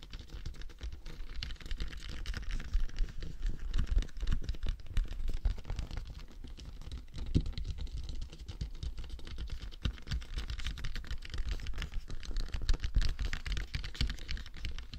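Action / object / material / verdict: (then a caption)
tap / hollow hard plastic dummy head / hard plastic / none. Fingertips and short nails tap fast on the crown and face of a life-size, matte black, hollow hard plastic dummy head microphone held upright. The result is dense, rapid, dull tapping with heavy low thumps and short, dry clicks that die away almost instantly.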